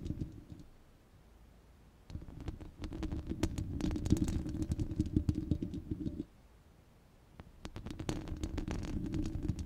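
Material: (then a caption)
Steel mesh. Long red glitter nails scratch and tap a rounded, hollow steel wire-mesh microphone grille, making a dense, low, rumbling scrape dotted with quick, sharp clicks. The scratching swells from about 2 to 6 seconds, drops to a quiet lull, then resumes near the end.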